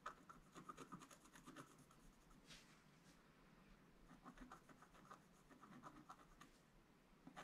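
A wooden stylus scratches across a flat, black-coated scratch-art page near the bottom of the sheet. Quiet, dry, gritty strokes come in short bursts with a faint bright edge and no ring, with a softer, brushier sweep in the middle.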